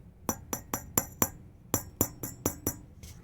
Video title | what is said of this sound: Testing the Hedge Tube Amplifier - Hedge Amp Part 11- Final | these three have like a thump, but this one rings. Hear how it rings? That's a bad tube.